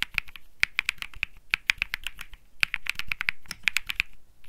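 Fingertips type rapidly on a compact Think 6.5 mechanical keyboard (Bsun Lollipop) with an aluminum case, PC plate and plastic keycaps. About 27 crisp, bright keystroke clacks land in quick, uneven bursts, each peaking near 2.4 kHz with a faint low thump beneath. Every stroke dies away almost instantly.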